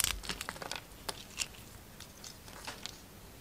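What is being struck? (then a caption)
Bar of soap with glitter coating. A utility knife shaves a solid round soap with a gold glitter coating and a pale green core. A quick series of crisp, bright scraping and cutting crunches comes fast at first, then spaces out.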